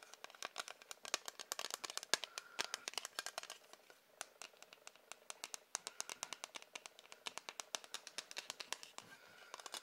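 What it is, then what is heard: Hard plastic ruler. Tapping on a hard plastic ruler makes a rapid run of short, dry, bright clicks with almost no ring and no low end. The taps are quiet and come in quick bursts throughout.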